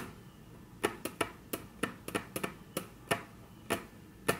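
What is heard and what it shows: Very long natural nail tips tap on a flat, solid, dark brown wood-grain tabletop, making about a dozen short, crisp clicks at an uneven pace. Each tap is sharp with a bright edge and dies away almost instantly, with no ring in between.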